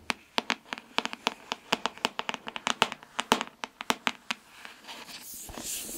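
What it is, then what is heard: Hardcover book tapped with fingernails. Long nails tap and scratch the glossy cover of a solid pink hardcover book, "Girl, Goddess, Queen," held near the mic. A quick series of sharp, dry, bright clicks comes first, then a softer, hissy scratching over the cover toward the end.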